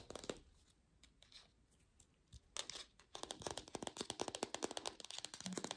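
An artificial plastic green apple is fast-tapped in lo-fi, without a microphone. A few scattered, crisp taps give way after about three seconds to a dense run of quick, dry, bright clicking with a light crinkly texture. Each tap stops almost instantly, with no ringing.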